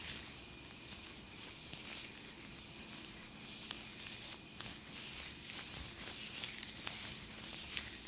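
Thin purple latex (possibly nitrile) gloves on both hands are rubbed and wrung palm against palm and finger against finger close to the microphone. The result is a continuous soft, bright, hissy rubbing with squeaking, at a low overall level. Four sharper squeaks stand out above the steady rub.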